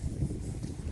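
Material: Nothing is struck.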